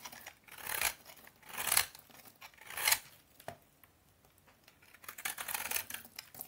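A utility knife blade scrapes and shaves crunchy curls off the face of a solid bar of vintage Soviet orange toilet soap that is already partly carved. The strokes come as bright, dry, crackly scraping bursts with short clicks between them, and they stop quickly without ringing.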